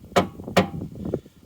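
Knocks on the metal fuel tank of a Corsa B give two sharp, hollow raps and a softer third, each with a bright attack, a low body around 184 Hz, and almost no ring. The tank sounds empty, with the little fuel left in it likely evaporated.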